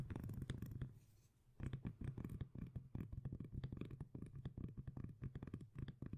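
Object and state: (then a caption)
Cork lid. Long nails scratch and tap rapidly across the face of a flat, solid round cork disc lid with visible grain, giving dense, soft, low thuds with short scraping bursts. The tapping pauses briefly near the start, then resumes in quick, uneven clusters. Each knock is deep and muffled and dies away almost at once.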